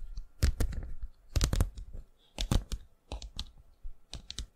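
Long fingernails and fingertips tap on a thin, flat, rigid 12-inch cardboard LP jacket of Nirvana's Nevermind, possibly with a record inside, held up close to the microphone. Quick clicky taps come in irregular clusters with short pauses, sounding much like typing on a keyboard, each tap dry and brief with a soft low thump under a bright click.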